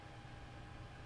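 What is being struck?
Nothing is struck.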